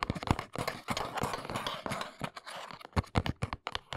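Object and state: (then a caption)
Hollow cardboard box tapped with fingernails. Long nails rapidly tap the sides of a small, hollow brown cardboard box lying on its side. The taps are quick, dull and hollow with a low thump, and a scratchy, papery rustle fills the gaps between them.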